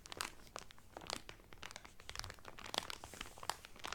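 Fingertips press and crinkle the clear cellophane wrapper around a blue Carnival cotton towel folded flat. The result is a rapid run of sharp, bright crackles and snaps with no ring, over a faint low rumble.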